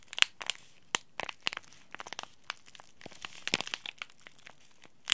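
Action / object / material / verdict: scrape / laminated plastic-foil tea bag packet / plastic foil / none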